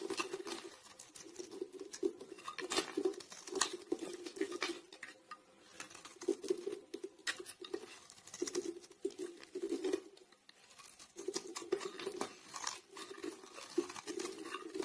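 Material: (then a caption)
Soap. A blade repeatedly scrapes a solid grey domed soap bar held in the hand, shaving off flakes that fall away. The scraping makes a dense, crackly patter with a low-mid rasp and bright edges, broken by short pauses near the middle and again around ten seconds before it resumes.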